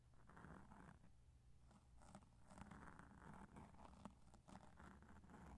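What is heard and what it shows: Two cotton swabs, one in each hand, scratch and brush over the surface of a black foam microphone windscreen. The result is a quiet, continuous soft scratching and rustling over a heavy low rumble, with recurring swishy bursts and a few brief sharp clicks.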